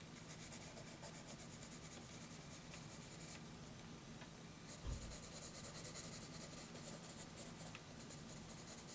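A graphite pencil held in the fingers draws long scratching strokes across a flat sheet of graph paper. The result is a steady, quiet, bright scratching texture with a low rumble underneath and a brief low bump near the middle.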